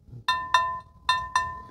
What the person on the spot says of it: plink it if it sounds dull there's probably a crack in the handle